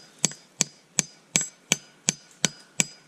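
A cast aluminum maple spile in a tree is hammered eight times in a steady rhythm, each strike a sharp, bright tap with very little ring. The sound has turned hollow, showing the spile is fully seated in the tree.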